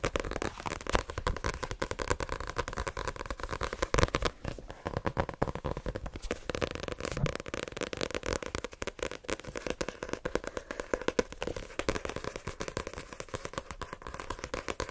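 Fingernails tap rapidly on the card covers of a solid white paperback book as it is turned in the hands. The result is a dense, continuous stream of short, dry, crackling clicks with no ring, over a faint steady midrange hum.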